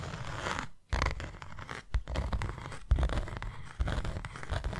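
A closed, hand-sized white cardboard box is scratched and tapped with long nails. Dry, rasping scratches run over low, thudding taps, with sharper knocks near 1, 2, 3 and 3.8 seconds.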